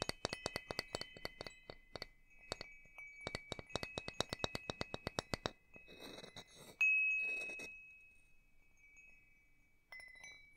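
A small hanging wind chime with hollow metal tubes and a wooden top bar, held by its string in front of the microphone, has its tubes struck with its wooden striker piece. A rapid run of short, bright metallic clinks gives way to a brief rustling clatter, then one strong strike rings out with a long, high, sustained tone that slowly fades before another strike sounds near the end.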